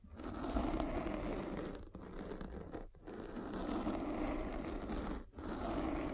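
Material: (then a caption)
Foam. A metal-spiked derma roller is rolled over the surface of a black foam windscreen on a microphone, making a dense, scratchy crinkling and rustling texture with a warm, low-mid body. The steady rolling noise dips in three brief pauses before continuing.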